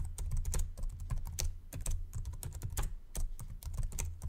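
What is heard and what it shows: Fingertips type slowly on the white plastic keyboard of a Samsung laptop, producing a steady run of short, dry clicks. Each keystroke is a brief bright tick with a soft low thump beneath it, over a faint continuous low hum.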